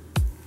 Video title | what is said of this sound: 大寒波襲来で池が全部凍りましたがそれでも釣りに行く！ | 叩くと向こうの方まで音が共鳴してキュンキュンってなるんですよ